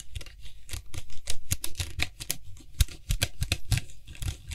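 Fingertips quickly tap and scratch the white hollow plastic cap of a Lysol aerosol spray can while gripping it around the rim. A rapid, uneven run of short, dry taps follows, each with a hollow low thump and a bright plastic click, mixed with light scratching. The taps die away almost instantly.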